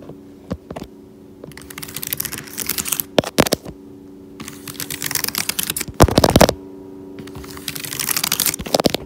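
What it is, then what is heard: Laptop keyboard, plastic keys. Fingertips with nails tap and type rapidly on the black plastic keys of a laptop keyboard set in a thin, solid silver aluminum body. Bursts of fast, bright clicking alternate with a few sharp single taps and a louder dense flurry near the middle. A steady low hum runs underneath throughout.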